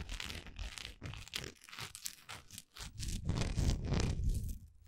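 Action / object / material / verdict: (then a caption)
scrape / wax pillar candle / wax / none. Long nails scratch and rub the grainy side of a large, solid orange wax pillar candle, heard close up. Quick, uneven strokes of dry, crackly scratching come at about three to four per second over a soft low rumble, growing louder in the second half before easing off.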